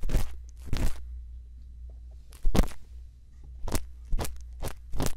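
A thin bamboo earpick scrapes inside the ear canal of the soft silicone ear on a white binaural microphone, while the other hand steadies the mic. Short, bright crunchy scratches come in separate bursts over a steady low hum, each fading quickly into quiet.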